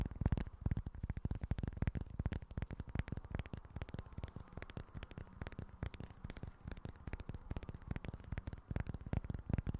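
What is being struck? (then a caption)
Cork board. A small, flat, rectangular board of speckled cork with a barcode sticker, held in both hands close to the mic, is scratched and tapped with short fingernails and fingertips. The result is a rapid, continuous stream of soft, dull taps and scratchy crackles, mostly low and thuddy, each dying away almost instantly.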